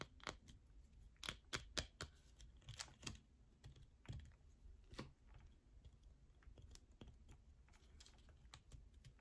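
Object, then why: Bar of soap. Long fingernails scratch inside the center hole and along the edges of a yellow bar of soap, making fast, quiet scratching with sharp, bright taps mixed in. The taps are short, dry clicks over a soft, low rustle.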